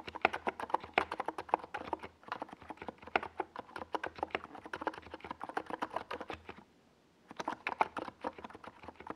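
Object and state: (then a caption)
Plastic mechanical keyboard with SA keycaps. Fingertips of both hands type on a compact 68-key NiZ Plum Atom 68 plastic mechanical keyboard, with a white plastic case and tall purple and yellow Domikey Gas Attack SA plastic keycaps, resting on a desk pad. A quick, steady stream of short, clacky mid-pitched key taps continues, pauses briefly near the end, then resumes.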